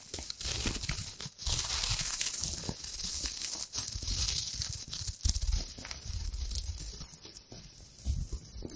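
A thin, hand-sized sheet of gold metallic foil wrapper is crinkled and scrunched by long-nailed fingers close to the mic. The result is a dense, continuous crackle of bright, crisp crinkles over soft low rustling thumps, with brief louder bursts as the foil is squeezed.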